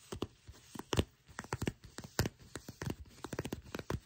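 Long pink nails scratch and tap along the folded, soft material of dark brown leather pants bunched in the hands. Irregular sharp, crinkly taps and scratches, about sixteen in all, each dying away almost instantly over a quiet background, with a dull low thump beneath a bright edge.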